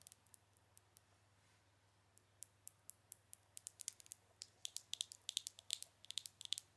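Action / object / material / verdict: tap / small glass jar with plastic lid / glass, plastic / none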